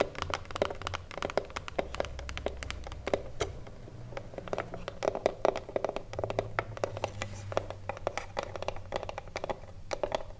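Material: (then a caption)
Wood. Long blue nails and fingertips tap rapidly across the top edge and front face of a small, hollow wooden cigarillo box. The clicks are quick, dry and sharp, with a hollow woody tone around 600 Hz and bright nail ticks, over a faint low hum. The irregular tapping runs steadily throughout and dies away almost instantly after each hit.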